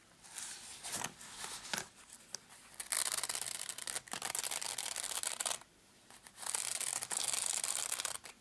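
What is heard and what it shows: Fingertips with short blue-painted nails scratch and rub the fabric surface of a small, hollow, black padded nylon zip case with a Case Logic label, lying on a dark mat. Quieter bursts of scratching give way to long, bright, hissy stretches of steady rubbing, separated by a near-silent pause.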